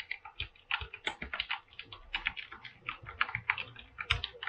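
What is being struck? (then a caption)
Aluminum mechanical keyboard with plastic keycaps. Both hands type with their fingertips on a full-size mechanical keyboard with a silver aluminum frame and white and blue PBT plastic keycaps, resting on a pink surface. About 26 quick, bright keystrokes clack in an uneven stream over four and a half seconds. Each is crisp and dry with almost no ring, and a few land with a deeper thock.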